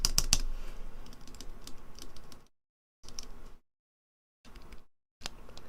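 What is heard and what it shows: A reassembled keyboard key with a plastic and metal wire stabilizer is pressed repeatedly with its keycap back on. The presses come as short clicky taps with a rattling buzz, separated by silent pauses. The stabilizer still rattles.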